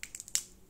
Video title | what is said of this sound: 👨🏻‍🍳 SURVIVAL CHEF #2 Castañas | regardez à quel point ça sonne différent, ça sonne totalement croustillant dans ce cas